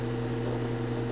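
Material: Nothing is struck.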